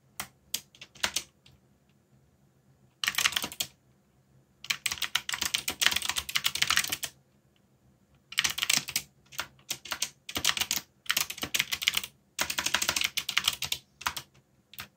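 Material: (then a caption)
Plastic. Fingertips type on a backlit mechanical keyboard with plastic keycaps, producing bright, dry clicks with a very short decay. The typing comes in bursts of rapid keystrokes separated by brief pauses of silence throughout the clip.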